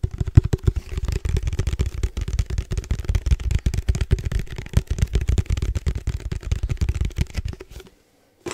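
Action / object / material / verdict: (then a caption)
tap / headphone case / unknown / none. Fast tapping on a headphone case makes a dense run of short, dull, low thuds with almost no ring and very little high content. The taps stop near the end, followed by a brief silence and one last tap.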